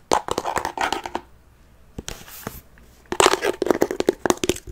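Fingernails scratch and tap on the lid top and metal handle of a closed mini wooden chest covered in faux leather. Dense bursts of dry, crinkly scratching and quick taps with a mid-toned body around 375 Hz give way to a near-silent pause, then a softer scrape. A fresh flurry of sharp taps and scratches follows.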